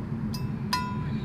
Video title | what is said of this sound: 플루트 헤드(조인트) Flute Headjoint | 이런 울림이 있으면 골드에요